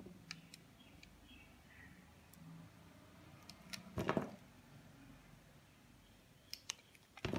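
A utility knife blade shaves thin slices from the surface of a solid green soap bar held in the hand, scraping and cutting into it. Soft, low scraping runs under scattered sharp, bright clicks, with a louder crunchy cut around the middle and a few more crisp snaps near the end.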